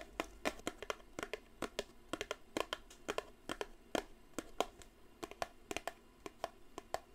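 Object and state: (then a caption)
Cardboard perfume box. Long blue nails tap and scratch the sides of a small upright grey-and-white Eau de Cartier cardboard perfume box held in one hand. Quick, dry, irregular taps with no ring are heard, mixed with soft scratching at a quiet level.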